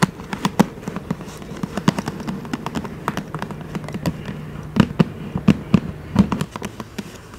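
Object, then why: Paper gift bag. Long manicured nails tap rapidly and scratch across the flat side of a medium black paper gift bag with rope handles. The result is a quick, uneven run of sharp, dry taps with a low papery thump and almost no ring, over a faint scratchy rustle between the hits.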